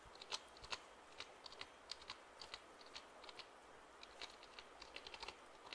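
Fingertips tap and press the keys of a black plastic computer keyboard held upright near the microphone. The result is a quiet, irregular run of short, dry, bright clicks that die away almost instantly, with very little low end beneath them.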